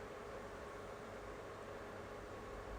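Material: Nothing is struck.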